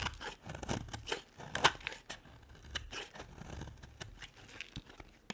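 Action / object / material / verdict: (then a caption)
scrape / bar of soap / soap / none. A utility knife blade shaves a thin, solid pink striped bar of soap, sending curls of soap falling off. Dry, crisp scraping and short crackly cuts come in quick uneven bursts with bright edges, and one sharper snap stands out partway through.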